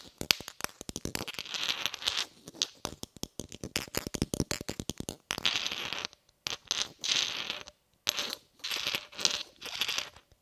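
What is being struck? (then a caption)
Cast iron pineapple grenade. A hand-sized inert cast iron pineapple grenade, with a segmented metal body and spoon and held in one hand, is tapped and scratched with a red shotgun shell. Rapid bright clicks and ticks blend into short scratchy, scraping bursts, with dead-short decay and little low end, broken by brief pauses.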